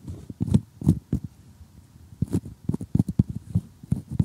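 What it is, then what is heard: Cardboard jigsaw puzzle pieces. Metal tweezers tap and pick at glossy cardboard jigsaw puzzle pieces up close, producing a run of quick, dull clicks with soft scraping between them. The taps are short and low, with almost no ring, and come in irregular bursts separated by brief pauses.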